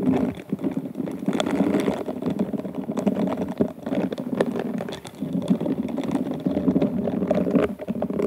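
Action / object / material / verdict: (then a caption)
scrape / glass wine glass covered in rhinestones / glass / none. A pink silicone-gloved hand rubs and scratches the bowl of an inverted, hollow, empty glass wine glass covered in rhinestone beads. The result is a steady, dense, low-mid crackling scrape of many small ticks. It eases in brief dips near one and five seconds before continuing.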